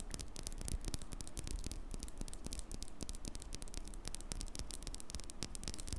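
Long acrylic fingernails tap and scratch the hollow, perforated black metal mesh grille on the head of a black condenser microphone. The result is a steady stream of quick, dry clicks and bright scratchy ticks over a heavy, low hum-like rumble.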